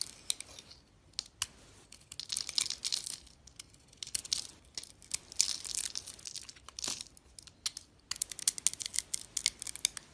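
A segmented box-cutter blade shaves and cuts into a rounded solid bar of green and white striped glitter soap held in the palm. Quick, dry, crackling scrapes and crisp cuts come in bursts of bright, papery crunching with short pauses between. The sound is almost entirely high-pitched, with no low body and no ring after each cut.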